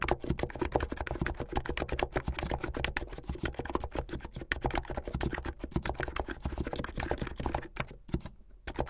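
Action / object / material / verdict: tap / plastic mechanical keyboard / plastic / none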